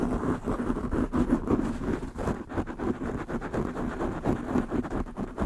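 Long nails and fingertips of both hands quickly scratch a black porous foam windscreen on a desktop microphone. The result is a dense, continuous, muffled rustling and scraping with a rumbling low end, most of its energy sitting in the low-mids and little brightness on top.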